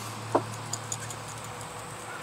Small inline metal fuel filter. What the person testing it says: if you listen when you shake it there's no noises in here